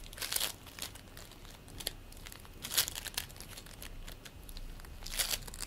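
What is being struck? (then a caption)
Play foam ball of polystyrene beads. Both hands knead and squish a green play foam ball made of polystyrene beads with their fingertips. Soft, bright crackling and crinkling bursts rise and fade irregularly over a quiet background, with a few louder crackles standing out.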